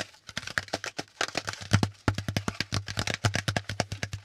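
Fingertips tap quickly on the flat panel of a brown corrugated cardboard packaging insert held upright. It makes a fast, uneven run of dry, hollow taps, each with a low thump and a papery, bright edge that dies away almost at once.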